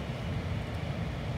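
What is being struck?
Nothing is struck.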